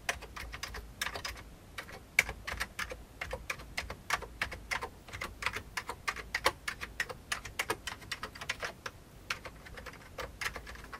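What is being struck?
Plastic computer keyboard.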